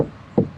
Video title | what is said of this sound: Door Speaker Replacement / 2017 Ford Edge | it sounds solid it's not it's not ringing anymore